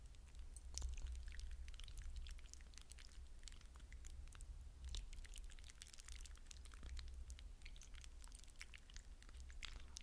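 Fingers dig into a glass bowl of wet blue hydrogel water beads, scooping up a handful and squeezing and rubbing the beads. The result is a dense stream of soft, wet squelches and bright, crisp little clicks and crackles over a steady low hum.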